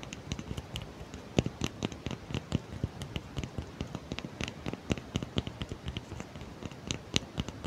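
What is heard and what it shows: Long fingernails scratch and tap a small solid block of natural cork held in both hands close to the mouth, right in front of the mic. It makes a quick, irregular patter of dry, clicky taps and soft scratching, with muffled low thumps under bright little ticks. Each hit stops dead with no ring.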